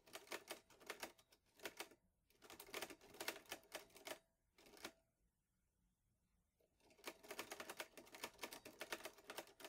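Fingertips press the plastic keys of a green metal-bodied portable Olivetti Lettera 22 manual typewriter with paper loaded, the typebars striking in quick bursts. Bright, dry clacks arrive in rapid runs, with a near-silent pause in the middle before a final burst of typing.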